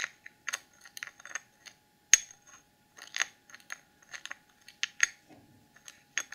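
Long acrylic nails tap and scratch the sides and screw lid of a small clear plastic cosmetic jar full of dark holographic glitter, held in both hands. The result is a string of bright, dry, clicky taps at an uneven pace, with brief scratchy rasps between them and almost no ring or low end.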